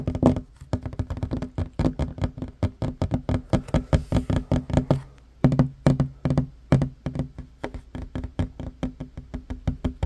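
Short fingernails tap rapidly near the front edge of a solid wooden tabletop. The irregular taps are dull, low knocks that die away almost instantly, with a brief pause about halfway through.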